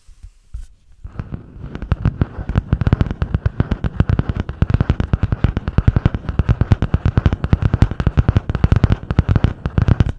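Long painted nails tap and scratch fast on the grey butterfly-print hard cardboard cover of a medium spiral-bound notebook held upright in both hands. After a quiet first second, a rapid, steady stream of short, dull, low-heavy taps runs to the end, with a soft scratchy hiss between them.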